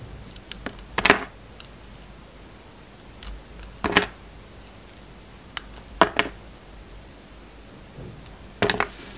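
A metal utility knife blade scrapes and carves a rectangular, solid Alviero soap bar with a dark red coating and a red and white inside. Short, crisp scraping and cutting bursts with a bright edge come every couple of seconds, separated by quiet pauses.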